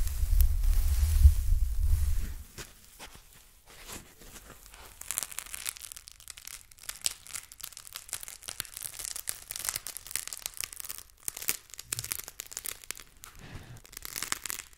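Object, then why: Packing foam block. A solid, soft white packing foam block is held in one hand while fingertips grip, squeeze and scratch it. A loud low rumble of handling in the first two seconds gives way to quieter, dense, bright crinkling and scratching that continues in rapid, uneven bursts.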